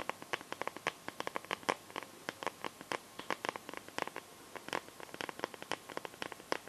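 Long nails tap and scratch on the back of a smartphone in a clear pink plastic case filled with liquid glitter and stars. About forty quick, bright, clicky taps come in an irregular rhythm, each dying away almost instantly, with faint scratching between them.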